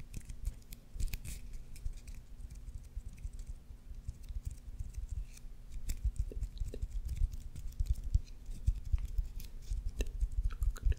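Fingernails scratch along the raised red stitches of a solid white leather baseball held beside the mic and tap on its leather. The result is a dense stream of soft, quick scratches and short, dull taps with heavy low-end thumps and faint high crackle.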